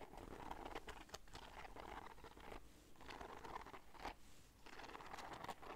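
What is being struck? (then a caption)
Fabric bag covered in beads and bead fringe. Long dark nails scratch and rub the gold beads and bead fringe on a black fabric bag held up by one hand. The result is a quiet, dense, crinkly rattle of clicking beads with bright ticks, broken by two brief lulls.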